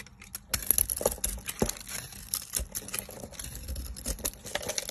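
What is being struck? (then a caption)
Soap bar shaved with a blade. A hand-sized, solid rectangular bar of pale green soap with a dark purple top coating, held in one hand with long nails, is scraped and shaved with a metal utility knife blade, its curls falling onto a pile of shavings. The sound is a dense run of crisp, bright scraping and crackling ticks with short dry thuds, steady and close throughout.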